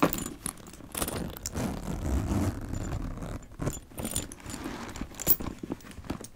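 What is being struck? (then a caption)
Leather handbag with metal chain strap. A brush and fingertips stroke a black leather handbag while its gold chain strap jangles. Soft, low-heavy scratching and rubbing runs throughout, broken by bright metallic jingles and small clinks from the chain.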